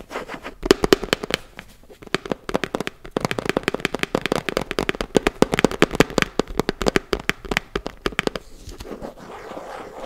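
Fingertips and nails tap fast on the printed lid of a closed, round, hand-sized plastic body-butter tub, making rapid bursts of dry, clicky taps with a hollow tone around 380 Hz. Each tap stops almost instantly, and a brief gap around two seconds splits the runs. The clip ends in a softer, brighter scratchy rustle.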